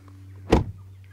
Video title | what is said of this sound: Intérieur Premium pour ce VOLVO EX30 ? | claquage de porte de qualité